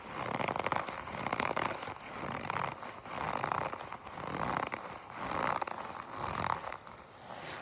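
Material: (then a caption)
Leather. A folded black leather jacket is squeezed and gripped by fingers with long pink nails. Repeated soft creaking, rustling squeaks centered in the mids rise and fall in irregular bursts about once a second, with brief crackles and light taps in between.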